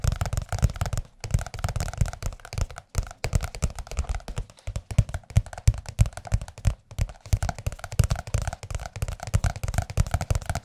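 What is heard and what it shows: Fingertips of both hands rapidly tap and lightly scratch the cover of a large blue glossy softcover music book. The result is a dense, continuous run of soft, dull, low thuds with short pauses, each tap dying away almost instantly, with a faint papery scratch underneath.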